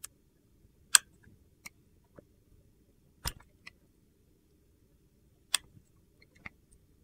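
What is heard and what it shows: A box-cutter blade shaves thin slices off a clear glycerin soap bar with colored soap cubes, held in one hand. Short, crisp, bright scraping clicks come at irregular intervals, each dying away almost at once into near silence.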